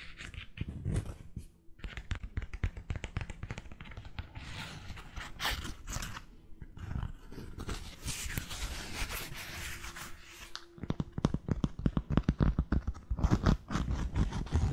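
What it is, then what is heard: Cork-soled sandal, scratched and tapped. Long nails scratch and tap on a white-strapped sandal with a cork footbed held close to the microphone. A rapid, uneven run of dull, low taps mixes with dry scraping, and the tapping grows louder and more clustered toward the end.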